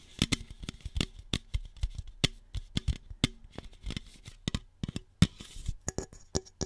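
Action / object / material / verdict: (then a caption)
tap / aluminum soda can / aluminum / none. Long fingernails tap and scratch the side wall and top of a single hollow red Shasta aluminum soda can. The result is a quick, irregular series of sharp, dry clicks with bright metallic edges and a faint low body, each dying away almost instantly. A brief hiss of scraping rises near the end.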